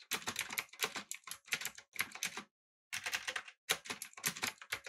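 Fingertips type rapidly on a backlit, typewriter-style mechanical keyboard with blue switches, an aluminum body and round plastic keycaps. Bright, crisp clicks come in quick, dense bursts with brief pauses between runs, and each keystroke dies away almost instantly.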